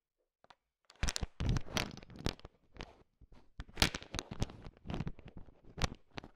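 A thin wooden stick stirs and taps a heap of small, hard, sugar-shelled peanut M&Ms filling a bowl, mixing them. Dense bursts of crunchy rattling and clicking come in uneven waves, each with a deep thump underneath and a bright crackle on top. The candies clatter and shift against each other as they are mixed.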